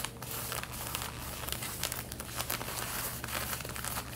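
Long red-painted nails scratch the front waistband of light blue denim jeans being worn, making a steady, rough, crinkly rasp. Brief brighter bursts of scratching sit over a constant low hum.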